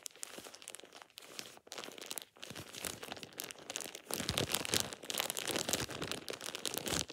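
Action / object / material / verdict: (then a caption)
scrape / thin plastic shower cap / plastic / none. A thin, light-green plastic shower cap with an elastic edge is held in both hands and crumpled and squeezed with fingertips and short painted nails. It makes a steady, bright crinkling and crackling with many quick, irregular snaps. The crackling grows denser and louder in the second half.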